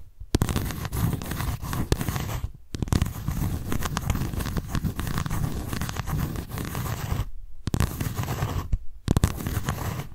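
Long nails scratch the raised lettering on the white embossed cardboard cover of a paper notebook. The result is a dense, rapid scratching texture, heavy in the low end, broken by a few brief pauses.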